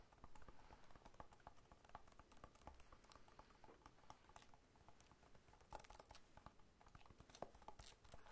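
Fingertips patter and tap on the scaly rind of a whole, solid pineapple lying on its side and held in one hand. A quiet, steady run of quick, dry taps with a soft, low-heavy body and occasional brighter clicks, each dying away almost instantly.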